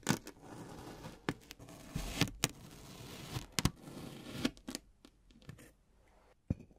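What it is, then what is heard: Kinetic sand cut with a knife. A black kitchen knife blade presses straight down in repeated cutting strokes through a flat, round, solid disc of green kinetic sand resting on a white surface, making radial cuts. About ten sharp, bright crunches stand out over a soft, continuous gritty crackle of crumbling sand. Each crunch dies away almost at once.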